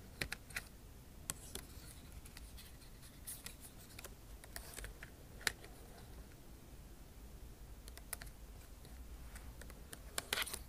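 A backlit MacBook Pro keyboard with plastic keycaps in an aluminum body is typed on with long nail tips. The clip is full of sharp, bright clicks and light taps spread unevenly over a low, steady hum, with a few louder taps standing out. The keys click dry and short with no ring.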